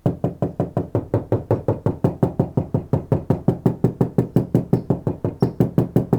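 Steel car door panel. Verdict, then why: Undamped. Someone knocks 35 times at a steady pace on the outside of the upper portion of a 1995 Suburban's front passenger door, a steel sheet-metal panel left without sound deadener for comparison with the treated lower portion. Each knock is a hollow, low thud centered around 180 Hz that dies away quickly, showing the undamped panel.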